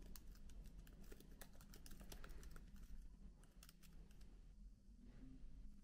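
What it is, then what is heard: Plastic laptop keyboard keys being typed. Both hands type with their fingertips on the plastic keycaps of a MacBook laptop keyboard. It makes a quiet, rapid patter of soft, sharp clicks with a bright top, over a steady low hum. There is a brief lull past the middle before the typing picks up again.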